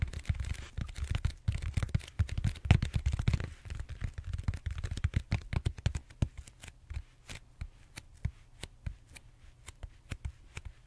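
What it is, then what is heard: Foam roller scratched and tapped. Fingertips and short nails scratch and tap the bumpy surface of a large purple solid styrofoam foam roller held horizontally. For the first six seconds, dense, rapid scratching and tapping produce a steady run of dry, muffled clicks. The taps then thin out into sparser, separate knocks with quiet gaps between them.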